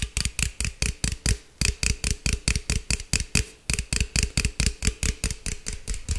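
A green aluminum beverage can, held sideways, is tapped and scratched with fingertips and nails. Around 28 quick, dry taps sound in an uneven rhythm, each carrying a low thump and a bright, crisp tick that dies away almost instantly.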